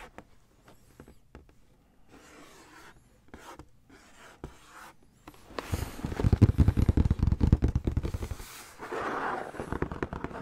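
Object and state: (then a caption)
Cardboard shoebox lid. Fingertips and nails scratch and trace over the printed logo on a green Nike SB cardboard shoebox lid, which is held up over the hollow box. Soft, sparse scratches and rubs give way after about five seconds to louder, dense, rapid scratching with a hollow low thump, before easing into a lighter rub at the end.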